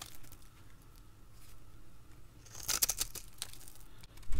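A utility blade cuts crisp cubes and strips from a hand-held, dried red soap bar with a scored surface. After a quiet stretch of low hum, a burst of bright, crackling snaps and crunches marks the cuts, ending with a louder low thump.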